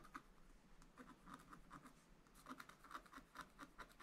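A wooden stylus scratches small strokes into the coating of a black wax-coated scratch art page in a spiral book lying flat on a table. About fifteen quiet, short, dry scratches sound at an irregular pace, each a brief rasp centered around 1 kHz with a soft lower tap beneath it.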